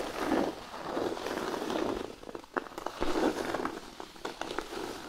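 Fingernails scratch across a large, flat, thin cork sheet resting on a blanket, first along the edges and then with one hand. The result is a soft, continuous rasping scrape centered in the low-mid range, swelling and fading with each stroke. In the second half it is broken by short, sharper scratchy ticks.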